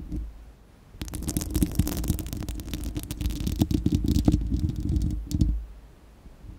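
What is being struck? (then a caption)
Steel mesh microphone grille. Long acrylic nails on both hands scratch a bare, round, hollow-dome steel-mesh microphone grille. After a quiet second, a dense, fast run of rough scratching and crackling comes through, heavy with low, boomy rumble and a hollow midrange hum. It continues for about four seconds, ends with a short final burst, and fades back to near-silence.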